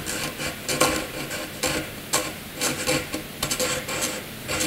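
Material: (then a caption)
Graphite, paper. A graphite pencil scratches looping scribbles across a white paper sheet. The result is a dry, bright rasp in short, uneven strokes, each flaring and fading with a faint steady tone near 500 Hz underneath.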